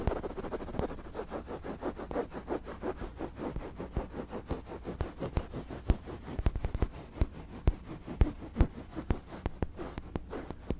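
Fingertips and nails scratch and rub a soft white fabric throw pillow with lettering and pom-pom fringe close to the microphone. The result is a steady run of quick, rhythmic scratchy strokes with a muffled, low-heavy texture, broken by sharper, louder ticks toward the end.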